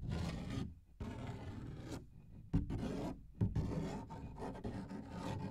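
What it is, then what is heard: Paper page scratched and tapped. Fingernails scratch and tap on the surface of a large, thin paper coloring book page held in both hands in front of the mic. Dry, low-heavy rasping and rubbing runs through the clip, with a few brief pauses and a couple of sharper taps.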